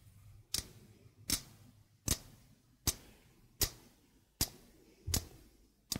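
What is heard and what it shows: A stainless steel mesh sink strainer is held up with its mesh facing the microphone while the mesh and rim are tapped slowly with fingertips and nails. Eight short, bright metallic taps come at a steady, unhurried pace, each fading quickly with a faint low thud underneath.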